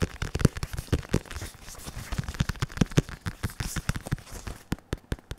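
Fingertips of a bare hand and a latex-gloved hand tap the padded surface of a black and red synthetic leather boxing focus mitt held upright. They make a rapid run of short, dull, low thumps with a soft crackling texture, ending in a few spaced taps.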